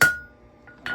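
A hammer strikes a wrought iron anvil with a steel plate face twice, each blow giving a bright metallic chink with a clear ring near 1.4 kHz. The first strike rings out for a fraction of a second before fading, and the anvil has the lively ring that a cast iron anvil lacks.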